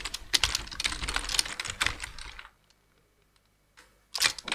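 Two-handed fingertip typing on a black plastic full-size computer keyboard produces a rapid, uneven run of bright, sharp key taps. After a couple of seconds the typing stops for a quiet pause with a faint soft sound. A final burst of clicky taps follows.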